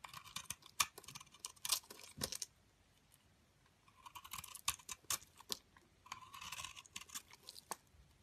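A metal blade scrapes and shaves a solid square soap bar, with a purple glitter coating over cream soap, into powdery flakes while a hand with long dark nails holds it. Dry, crisp scraping and crackling comes in three bursts separated by short pauses. Brief ticks and snaps with a bright, hissy texture run through each burst.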